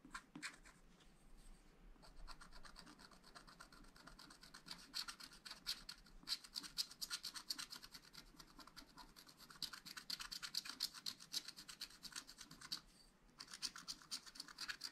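A wooden stylus scratches repeated short strokes across a black-coated scratch-art sheet in a spiral pad, revealing the coloured layer beneath. The result is a dense run of dry, bright, raspy scratches with brief pauses near the start and near the end.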